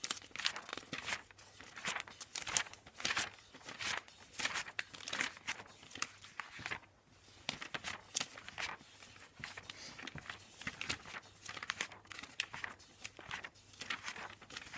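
Fingertips flip fast through the pages of a thick glossy paper IKEA catalog lying open on a bed. The pages rustle and flutter in quick, crisp bursts with a bright, papery sound and almost no low end.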